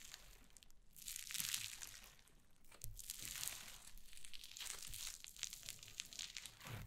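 White cloud slime on a wooden table is pressed and scratched with long nails and pulled apart. It makes dense, bright crackling and crinkling in soft swells with quick snaps and a faint low thump underneath.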